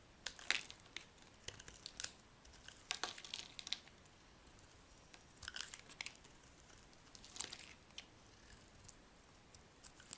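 A hand-sized solid blue bar soap with white stripes, held in the hand, is shaved and scraped with a metal utility blade, and dry flakes fall off. Quiet, bright, crisp scraping and crunching comes in short clustered bursts with near silence between them. Each stroke is dry and brittle and dies away almost at once.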